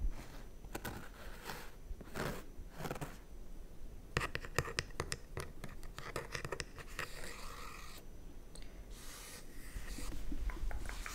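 Long red-painted nails tap and scratch the raised embroidered AutoFull logo and the smooth leatherette around it on the back of a white padded faux leather gaming chair. Soft, dry scratching and brushing strokes come in short bursts with a bright, papery hiss, mixed with quick taps that die away at once. The sound stays quiet and close throughout, growing a little busier and louder near the end.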